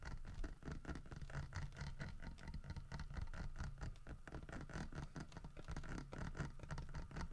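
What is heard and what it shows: Fingernails scratch the grooved, carved surface on the side of a large, solid carved wooden bear figurine holding a fish. The result is a steady, dense, rapid patter of soft, dry scratches with short decays and very little ring, its energy concentrated in a low rumble with almost nothing bright.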